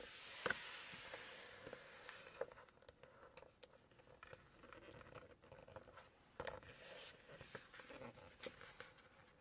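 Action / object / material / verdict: tap / glossy paper book page / paper / none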